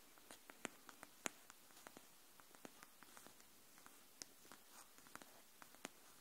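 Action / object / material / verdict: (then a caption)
tap / cardboard hardcover notebook / cardboard / none. Long nails tap the edge of a pink cardboard hardcover paper notebook held edge-up, making about seventeen quiet, sharp, dry clicks at an irregular, unhurried pace. Each tap is bright and brief with no ringing, over a faint steady hiss.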